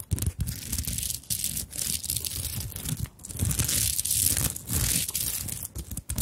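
Long nails scratch and rub across the beaded surface of a small fabric handbag covered in sequins and beads. The result is a steady, dense, bright crinkling and scraping texture with a soft low rumble underneath, swelling and easing in waves.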